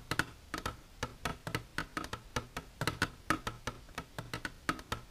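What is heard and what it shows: Long silver nails tap the sides of an empty, clear, hard plastic container standing upright. There are 26 quick, dry clicks in an uneven rhythm, each with a faint high tone near 1.5 kHz that dies away almost at once.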